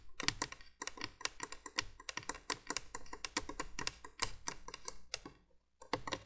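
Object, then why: Plastic window candle-light base. Long nails tap quickly along the hollow plastic base of a 1980s plastic window candolier. The result is a fast run of sharp, bright clicks with almost no ring, pausing briefly near the end before a few more taps.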